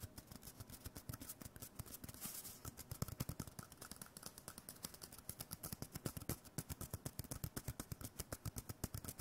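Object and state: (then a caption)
Cardboard tube. A small, hollow white cardboard tube, likely a toilet-paper core, is held in one hand and tapped and scratched with the fingertips of the other. Around 66 quick, dull, low-pitched taps come in a steady run, with soft scratching rustle between them, and each tap dies away almost instantly.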